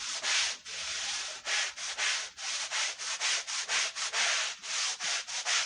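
A long-handled stiff brush scrubs a wool Persian rug covered in white powder and foam. It makes a steady run of bright, hissing back-and-forth strokes with short gaps between them. The sound is all brush bristle on wet pile, with almost no low end.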